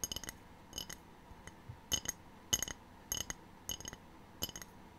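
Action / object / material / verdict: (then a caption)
tap / glazed ceramic tray / ceramic / none. Long painted fingernails tap a small, empty, rectangular white glazed ceramic tray with a black triangle print, held in both hands. About 14 quiet, bright, clicky taps land mostly in quick pairs at an uneven pace, each dying away almost at once with little ring.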